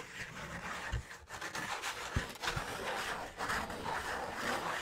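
A thin, flat, brown piece of cardboard about a hand's length, held in the hand, is rubbed and scratched with fingertips and nails. A steady, dry, papery scratching hiss fills the clip, with a few soft low thumps where the fingers press or shift on the sheet.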